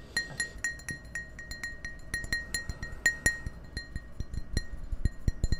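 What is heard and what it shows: Fingers and nails tap the sides of an empty, hollow clear glass tumbler held between the microphones. A quick, irregular series of short, bright clinks sounds over a steady ringing glass tone around 2 kHz, with soft low thumps beneath each tap.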